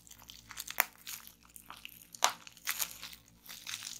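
Fingertips and nails twist and squeeze a clear plastic strip of air-filled bubble wrap on a wooden table, making a steady bright crinkling. Sharp, high pops burst out as bubbles break, with two loud snaps standing out among the softer crackles.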